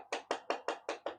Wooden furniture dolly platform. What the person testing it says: you can just hear that hollow sound